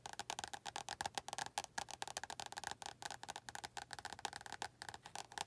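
Long nails rapidly tap the cover of an orange paperback book, which is then held in one hand with fingers resting on the cover. About 26 quick, dry clicks sound with a woody, hollow tone centered near 800 Hz and a bright edge. Each tap stops almost instantly, with very little low end.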